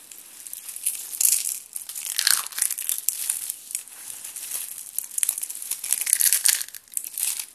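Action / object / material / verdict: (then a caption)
scrape / soap shavings crushed by hand / soap / none. Both hands with blue painted nails squeeze, crumple and crush a heap of thin, brittle, dry blue and pink soap flakes and ribbons on a paper surface, using palms and fingers. The result is a dense, dry crinkling crunch made almost entirely of bright, high crackles with no low end, swelling in waves of louder crushing bursts.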